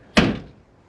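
The steel trunk lid of a 1972 Chevrolet Impala is slammed shut in a single hit. It gives a sharp, deep thud centred around 200 Hz that fades within about a third of a second. The lid sounds solid, possibly because the trunk is so big.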